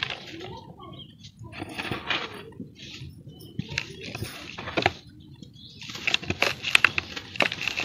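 Bare hands with painted fingernails squeeze and crumble dry, dusty sand-and-cement lumps in a large round basin, making powder fall and dust rise. It sounds like gritty, bright crunching and crackling in irregular bursts, with short, sharp clinking snaps that grow louder toward the end.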